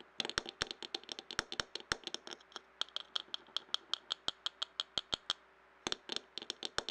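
A clear glass jar, lying on its side and filled with paper scraps, is tapped with fingertips and nails. Dozens of quick, crisp, bright taps ring out in an uneven rhythm, each dying away almost instantly. There is a brief pause before a final cluster of taps.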